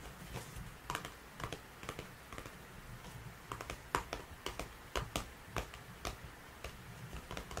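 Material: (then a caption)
Cardboard. A small cardboard box of disposable gloves, opened at the top with gloves visible inside, is held and tapped with fingertips and nails on its sides and front. Quick, dry, bright taps come in irregular clusters over a low steady hiss, each dying away almost instantly. A spray bottle nearby stays untouched.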